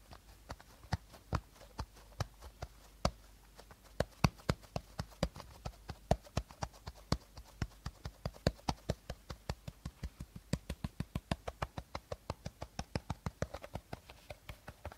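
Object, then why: Plastic screw cap on an empty plastic bottle. Fingernails tap the teal plastic screw cap of an empty plastic bottle held end-on, producing about sixty short, dry, hollow clicks. The taps start irregular and spaced out, then settle into a quicker, steady rhythm in the second half. Each click is quiet and dies away almost instantly with a low, hollow body.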